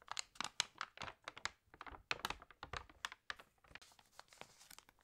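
Fingertips rub the pages of an open, water-damaged glossy paper magazine and turn them. A quiet, rapid series of crisp, bright crinkles and papery rustles follows, with short dry bursts, little low end and no ring.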